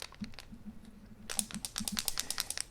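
A laser-cut wooden and stainless steel puzzle lock is shaken, and its loose internal parts rattle. Soft, sparse clicks give way after about a second to a louder, denser run of bright, dry clattering taps.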